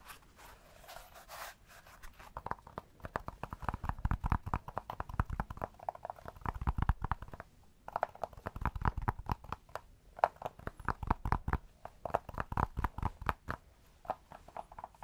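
A palm-sized tan cork block with a grid of square cutouts is held in the hand and tapped and scratched with fingertips and nails. Rapid, dry, muffled taps with a hollow midrange tone fade almost instantly, mixed with soft scratching and a brief lull near the middle. The steady stream of quick taps sounds close and quiet throughout.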